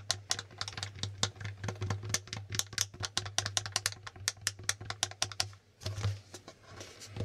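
Fingertips click and flip the plastic tiles of a plastic Hangman board game, making a rapid run of sharp, bright plastic clicks over a low steady hum. The tapping briefly thins out near the end, then resumes.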